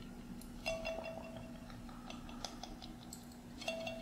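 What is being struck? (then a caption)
Glass mason jar with metal screw lid. Fingernails tap the metal screw lid and glass sides of a small glass mason jar held in both hands. Light clicks and bright clinks recur, some leaving a short ringing tone near 656 Hz. A faint steady low hum runs underneath.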